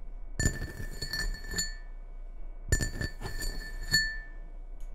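Fingertips and nails tap the outer wall of a medium red ceramic bowl with a white Christmas print, hollow and empty, resting on a wooden table. Two bursts of quick, clinking taps ring with short, bright tones over soft low thuds, and each note dies away almost at once.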